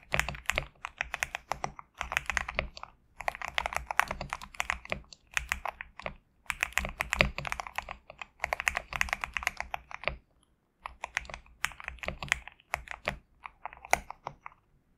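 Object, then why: Compact mechanical keyboard with PBT plastic keycaps. Fingertips type on a compact GMK67 mechanical keyboard with PBT plastic keycaps. Rapid bursts of crisp, bright keystrokes clatter in quick runs, broken by short pauses. Each keystroke dies away almost at once.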